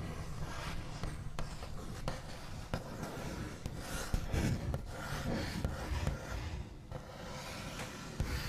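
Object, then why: Wooden tabletop. The backs of the nails on both hands slowly trace and scratch across a large, flat, solid wooden tabletop with a smooth white finish. The result is a soft, continuous low rasping texture, broken by a few short, dry taps that die away at once.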